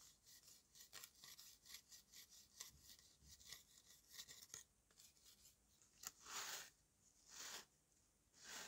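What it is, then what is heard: Dried mud block scraped with a knife. A steel knife scrapes the powdery, dry clay surface of a solid dried red mud cake shaped like a dome, which is held in the hand at times. Quick, quiet, bright rasping strokes come in a rapid series, then give way to a few longer, louder hissing scrapes near the end.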